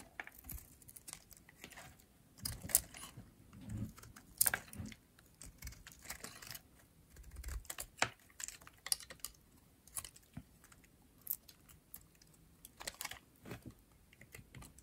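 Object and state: Dry bar soap being shaved.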